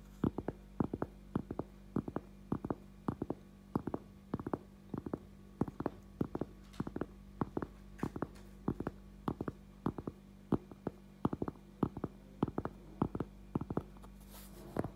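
A cork object is tapped in quick, steady bursts, giving dozens of short, dull, low-pitched knocks that die away almost instantly. A faint low hum sits underneath throughout.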